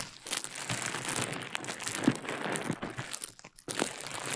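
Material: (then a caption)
Plastic. A small rolled piece of clear plastic bubble wrap, held in one hand beside the mic, is twisted, squeezed and popped by the fingers. Dense, bright crinkling runs throughout, punctuated by sharp little pops and crunches. It stops briefly near the end, then resumes.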